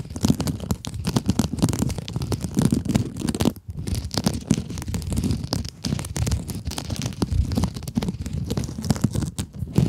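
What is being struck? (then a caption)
Synthetic mesh scrub sponge over foam. Long acrylic nails scratch the sparkly woven synthetic mesh of a palm-sized pink glitter scrub sponge with a foam core, held in both hands. The result is a dense, continuous run of fast, crackly scratches with a low rumbling body, pausing briefly near the middle.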